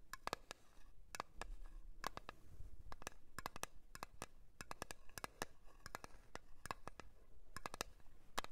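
A blue cream container is tapped in a quick, irregular series of sharp, quiet clicks. Each tap is brief with a faint ring around 1.2 kHz, and the taps come in uneven clusters over a low background.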